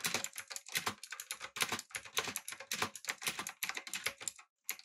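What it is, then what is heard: Mechanical keyboard with plastic keycaps. Fingertips type quickly on a backlit, typewriter-style mechanical keyboard with round plastic keycaps, producing a dense run of bright, clacky key clicks with almost no low end and a very short ring. The typing continues steadily, pauses briefly near the end, then resumes with a few final clicks.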